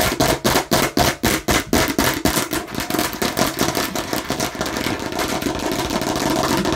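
Long nails tap quickly on the red, seeded face of a hollow plastic watermelon-slice bottle. Crisp, bright clicks with a hollow ring around 640 Hz start as distinct taps, then speed up and blur into a dense, continuous rattle.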